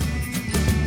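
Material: Nothing is struck.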